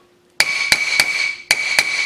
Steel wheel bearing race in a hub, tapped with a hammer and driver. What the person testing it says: you'll hear it make a different sound once it's all the way in.